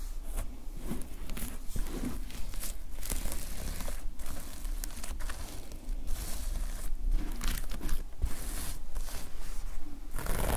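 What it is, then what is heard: Plastic sequin notepad cover. Fingertips rub and scratch the plastic sequin fabric cover of a closed notepad lying flat with the black side up. The result is a steady, dense crinkling and scraping texture with short bright bursts over a low rumble.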